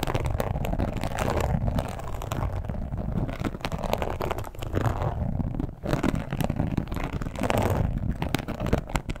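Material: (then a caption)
Leather. Long pointed acrylic nails tap and scratch the embossed surface of a large red, glossy, croc-embossed leather wallet with a front strap, lying flat. A steady stream of soft, muffled scratching and tapping continues throughout, with dull low-end weight and almost no bright high content.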